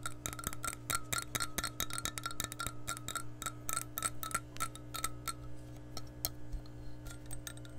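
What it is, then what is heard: Glass measuring cup. An empty, clear glass measuring cup is held close and tapped with long nails on its body and handle. Quick, irregular taps give bright clicks with a short glassy ring near 1.4 kHz over a steady low hum.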